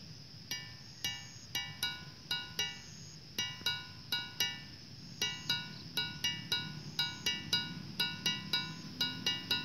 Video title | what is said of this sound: Situs Megalitikum Gunung Padang - Pusat Peradaban Dunia Ada Disini??? | gimana cukup nyaring kan